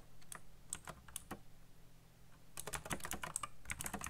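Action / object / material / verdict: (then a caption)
tap / plastic mechanical keyboard / plastic / none. Fingertips type fast on a backlit black plastic mechanical keyboard with RGB lighting and hollow key switches. A few scattered, bright clicking keystrokes over a low thud are followed by a brief lull, then a denser, louder burst of rapid tapping. Each click is short and dry, with almost no ring.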